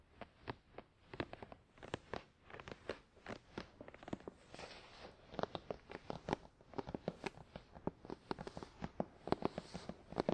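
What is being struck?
Closed cardboard box.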